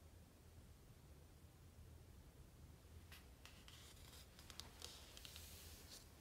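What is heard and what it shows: Hands rest on the glossy paper pages of a large open hardcover book lying flat and rub them. After about three seconds of quiet low hum, soft dry brushing and swishing starts, with bright papery crinkles and a few faint ticks over the steady low background.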